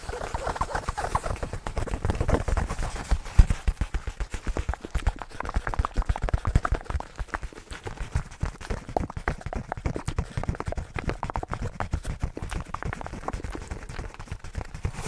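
Fingernails and fingertips scratch and tap the surface of a soft, hollow black nylon fabric bag held close to the mic. The result is a fast, irregular stream of dull, short thumps and rustling scratches, heavy in the low end with very little bright content and no ringing.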